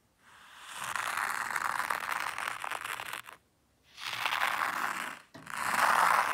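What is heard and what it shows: A small wooden rake sweeps and scratches through fine white sand in a hexagonal zen garden tray. Three long, grainy, hissing strokes are heard, each a dense scratchy rustle centered in the mids and upper range, with brief silent pauses between them. The last stroke is the loudest and brightest.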